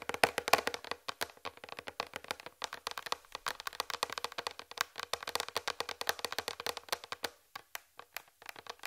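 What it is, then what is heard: Plastic tray. Long red fingernails tap and scratch the surface of a large, flat white plastic tray close to the mic. The result is a rapid, continuous stream of short, dry, bright clicks with almost no ring or low end, and brief quieter pauses in between.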